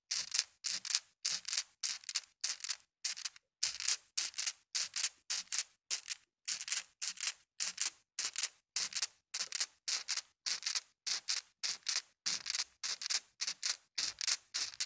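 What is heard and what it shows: Small, solid, colored glass marbles in a white plastic mesh net are shaken and dragged over carpet by a hand so they clack together. The result is a steady run of short, bright, rattling bursts with quick silences between them. The sound has almost no low end.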